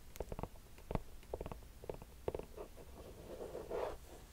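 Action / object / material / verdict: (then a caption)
tap / mesh running shoe with foam rubber sole / mesh, rubber / none. Long painted nails tap and scratch the upper of a hollow, empty black mesh running shoe with pink laces and a white foam/rubber sole, held in hand, before the shoe is turned to its sole. Short, dull, muffled taps with a soft low thump come in a loose, uneven rhythm. They give way to a longer scratchy rustle near the end.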